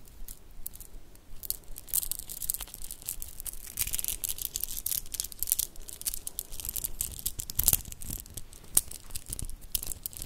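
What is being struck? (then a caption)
Shell bead bracelet. A mother-of-pearl shell bead bracelet, a strand of small solid grey iridescent shell cube beads, is held between fingertips and long nails and rolled and clicked together. Dense, irregular, bright little clicks and crisp ticking rattles run throughout, with a few sharper clacks standing out over a soft, low rustle.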